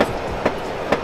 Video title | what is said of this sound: Pameran Otomotif ~ VTech Peredam Yang Sangat Ringan GAIKINDO GIIAS 2021 : 11 - 21 Nov | suaranya rongganya dia masih kosong